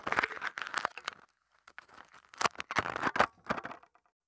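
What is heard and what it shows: Thin aluminium foil wrapped around a small mini microphone is crumpled and crinkled with fingertips, giving dense bursts of sharp, crackling crinkles centred in the mids with bright edges. The crinkling comes in clustered runs, with a near-silent pause in the middle before it picks up again and fades out.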